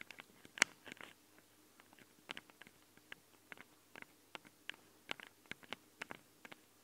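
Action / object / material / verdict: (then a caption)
tap / metal microphone capsules of a handheld recorder / metal / none. Long nails scratch and tap the sides of the metal microphone capsules on a handheld recorder. Short, bright, dry clicks and scrapes come in an irregular patter over a quiet background, with one sharper, louder tap near the start. Each sound stops almost instantly, leaving no ring.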